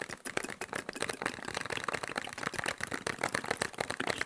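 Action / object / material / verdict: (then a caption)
tap / small cardboard box / cardboard / none. A small, hollow, printed cardboard medicine box with a shield-and-cross logo is held up and tapped fast with fingertips and nails. The result is a rapid, steady stream of dry, crisp clicks and light knocks that stop instantly, with almost no low end and a bright, papery edge.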